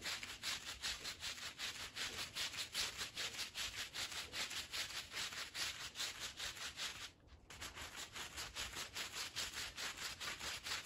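A green plastic push broom scrubs a small fringed woven fabric rug covered in powder and foam. Steady, rhythmic, bright bristle strokes of about two and a half per second make a hissy scrubbing sound, with a brief pause just after the seven-second mark before the scrubbing resumes.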